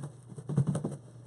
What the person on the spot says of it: I like to shake it until I can't hear a lot of rattling, because then I know that all of my powders have been used up